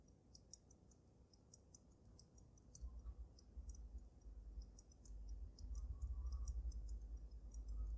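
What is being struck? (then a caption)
Water-filled glass snow globe. Long nails tap from both sides on the glass dome of a water-filled dragon snow globe with glitter. The result is a quick, uneven stream of short, bright ticks with almost no ring. A low rumble underneath swells louder partway through.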